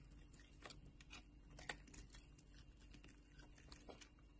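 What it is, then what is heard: Bar soap being shaved with a knife. A metal knife blade held at the edge of a solid orange soap bar shaves off thick, layered flakes. The result is a quiet run of dry, crisp scraping and crunching bursts with bright edges, one slightly sharper snap partway through, over a steady low hum.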